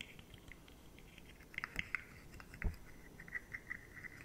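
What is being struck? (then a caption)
Rigid plastic segmented fidget toy. Long nails scratch the segment edges of a rainbow, rigid plastic, articulated slug fidget toy held upright, first in close-up and then at arm's length. Soft, quiet scratching carries bright plastic clicks and ticks around 2 kHz, with a louder knock partway through.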